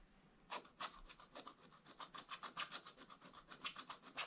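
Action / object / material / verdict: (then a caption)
scrape / wax-coated scratch-art paper scraped with a wooden stylus / coated paper / none. A wooden stylus held in the right hand scratches away the black wax coating of a scratch-art paper page in a Paw Patrol book lying flat on a table, revealing colour underneath. After a brief near-silent start, about two dozen short, dry, bright scratching strokes follow in an uneven rhythm at a quiet level, each fading almost instantly.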